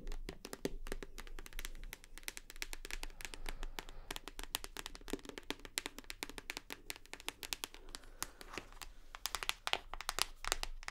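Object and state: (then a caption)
Plastic shower gel bottle tapped with nails. Long nails tap rapidly on a full white plastic shower gel bottle, turned to show its textured bottom. The many quick, dry clicks are bright and stop instantly, over a steady low hum.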